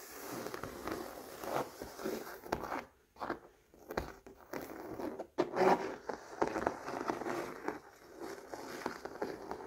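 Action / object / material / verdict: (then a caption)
scrape / acrylic painting on stretched canvas / acrylic, canvas / none. Fingernails scratch and fingertips rub across the textured weave of a large stretched canvas bearing a floral acrylic painting with raised glossy ridges. The result is a run of dry, raspy scrapes and soft crackling strokes, mostly in the mid-range, that swell and fade with brief pauses between passes.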